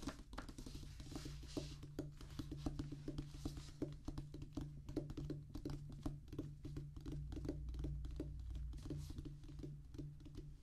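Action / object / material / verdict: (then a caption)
tap / rubber drum practice pad / rubber / none. A flat, solid drum practice pad with a black rubber top on a tan cork-like base is drummed with the fingertips of both hands, close up. A quick, somewhat uneven patter of dull, soft taps with almost no ring continues throughout, sitting mostly in the low range over a steady low hum.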